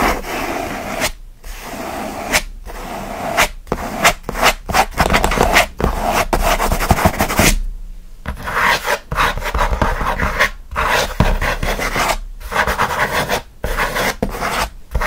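Both hands rapidly scratch their fingernails across the lid of a closed, hollow kraft corrugated cardboard mailer box. Bursts of dry, raspy scraping sweep from a low hollow rumble up to a bright hiss, broken by short silent pauses between strokes.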